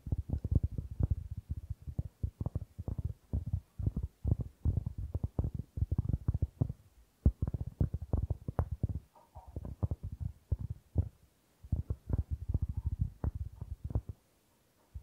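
A round, flat, solid cork board held next to the microphone is scratched and tapped by fingertips and nails. Dense bursts of short, dull, low thumps and rustles sound in rapid clusters with brief pauses, dying away at the end.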